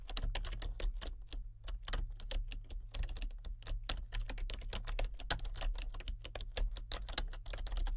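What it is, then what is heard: Plastic computer keyboard being typed on. Fingertips and nails type continuously on a full-size plastic computer keyboard with color-changing backlit keys. The result is a rapid, uneven stream of short, bright clicks and clacks, each dying away almost instantly, over a steady low hum.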